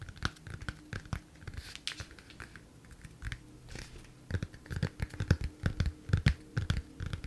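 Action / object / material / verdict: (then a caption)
tap / hardcover book with laminated cardboard cover / cardboard / none. Long nails tap and scratch the front of a large, closed, solid Emma Cakecup hardcover book with a glossy laminated cardboard cover, held in both hands. Quick, irregular dry taps with dull low thuds and almost no ring mix with brighter scratchy brushes in the middle, and the tapping grows louder and denser toward the end.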